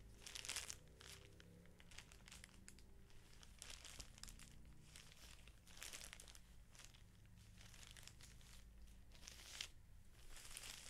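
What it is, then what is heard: Plastic-wrapped felt sheet pack. Fingertips rub, scratch and crinkle the thin clear plastic wrapper over the label of a flat stack of felt sheets. The result is quiet, bright crinkling and scratchy bursts that come and go, over a steady low hum with faint tonal lines.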